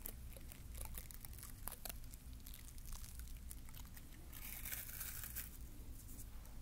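Fingertips scratch and rub the stiff bristles of a small green plastic bottle-brush mini Christmas tree, held sideways close to the recorder. The result is a quiet, steady crinkly scratching with short, bright crackles and ticks over a low, constant hum.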